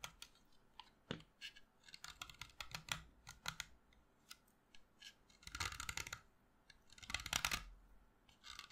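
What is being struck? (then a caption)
Chalk stick. A solid white chalk stick held in the fingers is carved with a utility knife blade. Quick, bright scraping clicks come in an irregular run, then give way to two longer, rasping scrapes that grind across the chalk before short scrapes resume.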